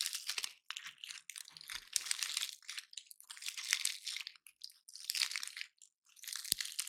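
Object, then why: Pine cone scales. A dry, solid, woody, hand-sized pine cone painted silver is held in both hands while fingertips and nails pick at its scales, scratching and snapping them off; other cones nearby are left untouched. Bursts of bright, crackly crunching and scratchy rasping come in irregular clusters, punctuated by sharp, clicky snaps and short silent gaps.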